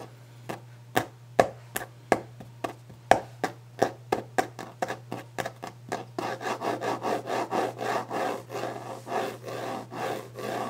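Fingertips and nails of one hand work on a large, solid, varnished wooden desk top, first in a quick series of sharp, dry taps with short clicks. After about six seconds they give way to fast, rhythmic rubbing and scratching strokes. A steady low hum sits underneath throughout.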